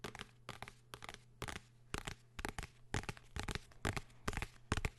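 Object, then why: Hardcover notebook. Fingertips and nails tap and scratch the cover of a blue hardcover notebook held close to the microphone. The result is a quick, irregular series of short, dry, crackly taps and scrapes with bright hiss and no ring, over a faint steady low hum.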